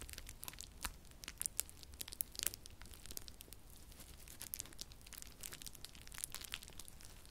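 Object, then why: Plastic bubble wrap. Clear plastic bubble wrap is held by hand close to the microphone and crumpled and twisted between both hands. A dense, bright crinkling runs throughout, punctuated by sharper, louder pops as bubbles burst, over a faint low rumble.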